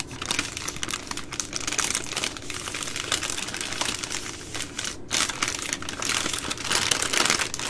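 Long green nails and fingertips scratch and crinkle the plastic wrapper around a full multipack of three soft plastic baby wipe packs (240 wipes) lying on a wooden table. The result is a steady stream of bright, crackly crinkling with dense tiny ticks and scratches. It has little low end and a brief pause around the five-second mark.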